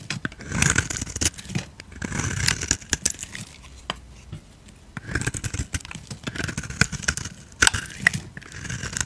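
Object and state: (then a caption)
Bar of soap being carved. A utility knife blade scrapes across a hand-held, solid, oval white bar of soap with a pink edge, carving off curly flakes. Dry, crackly scraping strokes come in bright bursts, with a low rumble underneath and brief quieter pauses between passes.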